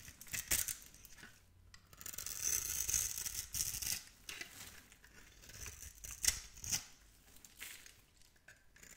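A metal blade scores and scrapes the surface of a solid, palm-sized green bar of soap embossed "Absolut," held in one long-nailed hand, shaving off flakes. The strokes come in irregular bursts of bright, dry, crisp scraping with a thin hiss between them.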